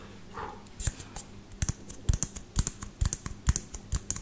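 A small pinkish frosted LED light bulb with a white base and hollow plastic dome, held in one hand close by, is tapped and scratched quickly with the fingertips and nails of the other hand. Fast, uneven clicks and taps land in rapid bursts, each with a dull low thump and a bright, dry tick that dies almost at once, over a soft scratching hiss.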